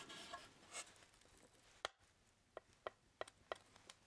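A brown hardboard (masonite) clipboard with a metal clip, a thin flat solid board, is held up and tapped with the fingertips. After a soft, bright rustle at the start, a series of short, dry, clicky taps follows, each dying away almost at once, with a mid-pitched knock and little low end.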